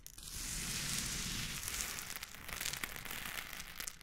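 Green and pink silicone spatula tips poke, scrape and stir through a loose heap of coarse pink Himalayan rock salt crystals. The result is a dense, steady, bright gritty crunching and crackling with a rustle of shifting grains throughout.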